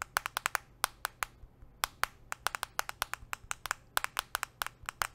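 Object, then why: Smartphone in a plastic case. A handheld smartphone in a solid, translucent purple-tinted plastic case, held in one hand, is tapped rapidly by metal nail rings on the fingertips of the other hand. About 29 sharp, bright clicks come in an uneven rhythm, each with a hard tone around 1 kHz and almost no ring. A faint low hum sits underneath.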